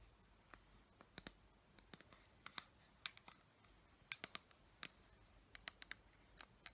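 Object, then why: Plastic pump dispenser bottle with paper label. Long nails tap and scratch on a clear plastic pump dispenser bottle with a paper label, partly filled with clear liquid. About twenty quiet, sharp, bright clicks come in irregular bursts over a soft background hiss, each ending almost instantly with no ring.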